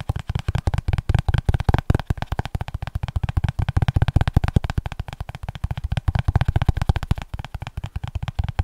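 A small spiral-bound paper notebook with an orange cardboard cover, held flat above the mic, is tapped quickly with fingertips along its cover and edge. The result is a steady stream of short, dull, deep thuds with almost no bright content and no ring after each tap.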